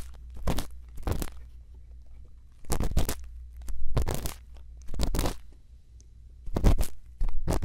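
A thin bamboo earpick scrapes inside the ear canal of a silicone ear on a binaural microphone. It makes close, crunchy bursts of scratching and crackling that spread up into bright, high frequencies. The bursts come in short clusters separated by quiet gaps, over a steady low hum.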